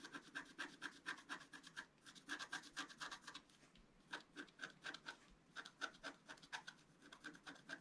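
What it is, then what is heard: Scratch-art paper being scratched. A wooden scratch stylus scratches fine lines into a flat, black wax-coated scratch-art sheet, about A4 in size, lying on a white table and held down by one hand. Quick, repeated scratchy strokes come in irregular bursts, each with a dry rasp and a faint squeaky tone around 1.5 kHz plus bright hiss. The strokes pause briefly near the middle before resuming.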